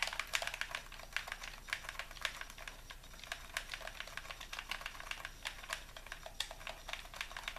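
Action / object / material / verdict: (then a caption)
tap / plastic game controller / plastic / none. A hollow white plastic Xbox controller is held in both hands while thumbs and fingers repeatedly click its buttons and sticks. The result is a steady stream of quick, sharp, bright plastic clicks with almost no ring and little low end, at a fairly quiet level.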